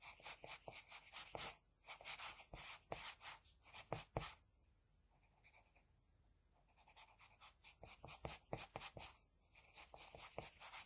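An HB pencil scratches across a flat sheet of drawing paper while drawing side hair, making quick, bright, scratchy strokes in rapid runs. Midway the strokes grow fainter and lighter for a few seconds, then the brisk scratching returns at full strength.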